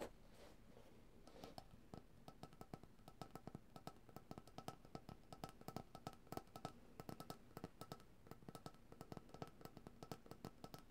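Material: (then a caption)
Plastic. A white, opaque cylindrical plastic coconut oil jar with its lid on, held in both hands, is tapped quickly with long dark-painted nails and fingertips. Dozens of short, dry clicks and taps with a hollow, low body follow one another in an irregular, steady stream, each dying away almost instantly.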